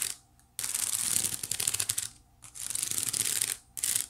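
Long nails scratch the side weave of a small, hollow white woven wicker basket. The result is dense, bright, crackly rasping in bursts separated by short pauses.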